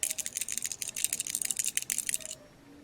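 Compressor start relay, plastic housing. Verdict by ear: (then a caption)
Failed. An old start relay from a water cooler's compressor is shaken by hand, giving a rapid, bright, high-pitched rattle of loose pieces inside for about two and a half seconds before it stops. The rattle means the relay has failed, and the water cooler had stopped working.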